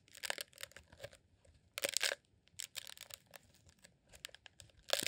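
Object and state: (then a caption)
Rolled beeswax sheet candle. A green rolled honeycomb beeswax sheet candle, shaped as a tube and held in both hands, is squeezed and scratched with the fingertips. It gives off quiet, bright, crinkly scratching and crunching bursts with a dry, dead finish and almost no low end.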